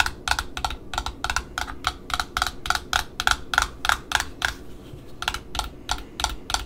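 Long metallic nails tap and scratch the printed cardboard end disc of a small black satin ribbon spool held in the hand. About 24 crisp, bright clicks land at an uneven quick pace with almost no ring. Faint scratching and a low background rumble sit between the taps.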